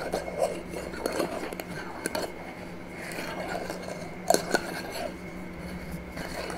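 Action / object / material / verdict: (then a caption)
tap / small glass jar with metal screw lid / glass, metal / none. Long nails tap the metal screw lid and clear glass sides of a small, empty glass jar held in the hand. About eight short, dry clicks and taps ring out with a slightly glassy edge and almost no ring-out, between softer scrapes. A steady low hum runs underneath.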